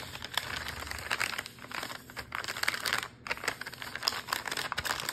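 Fingertips tap and scratch the crinkly printed plastic near the top seal of a full cookie dough wrapper lying flat on a counter. The result is a dense run of sharp, bright crinkles and scratchy rustles with quick taps, each dying away almost at once and with a brief pause near the middle.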